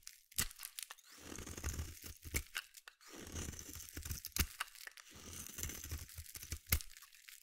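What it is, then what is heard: Bar soap being carved. A small metal blade carves flakes off the end of a palm-sized solid purple bar of soap held in the hand. Three long scraping passes, separated by short pauses, are heard as a low, gritty rumble under bright crackles and sharp clicks as the flakes shave away.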